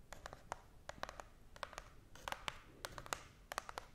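Long nails scratch and tap along the sides of a small, hollow brown cardboard box held close to the face and microphone. The result is a quiet series of about twenty quick, dry, crisp clicks and scratches with a bright edge, each dying away almost instantly over a faint hiss.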